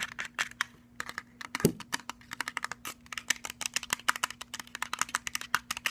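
Fingertips and nails rapidly tap and scratch a hollow, cylindrical plastic Bluetooth speaker, first on its round rubbery plastic end cap and then on its perforated metal grille. Dozens of quick, sharp, bright clicks and scrapes sound over a faint steady low hum.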